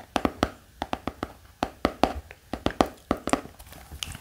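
A black hardcover notebook lying flat is tapped with the fingertips, giving 18 quick, dry taps in an irregular rhythm. Each tap is a soft, hollow knock centred low around 270 Hz with a little brighter click on top, fading almost instantly.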